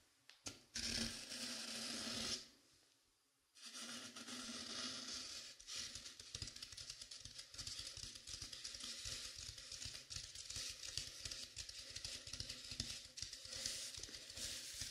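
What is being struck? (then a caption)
Velvet-flocked dummy head microphone. Long pink-painted nails on both hands scratch across the top and sides of a life-size, head-shaped binaural microphone covered in dark blue velvet flocking, likely over a foam core. The result is a bright, hissy, dense scratching with a brief near-silent pause early on, then a steady stream of rapid, crackly strokes.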